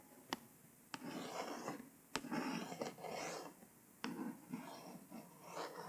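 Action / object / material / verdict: scrape / hardcover paper book with glossy embossed cover / cardboard / none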